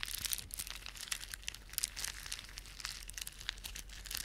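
Fingertips rub a plastic beaded ornament, making rapid, bright clicking and crinkling. The sound is a dense run of tiny, dry ticks with almost no ring, mostly high in pitch over a faint low hum.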